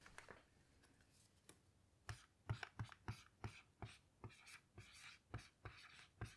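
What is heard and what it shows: A black dry-erase marker writes letters across a small, flat whiteboard with a smooth white surface and a light plastic frame, lying on a table. Quiet scratching gives way to a quick, irregular run of short taps and squeaky glides, each stroke dying away almost instantly, with a dull low thump beneath the bright scratch.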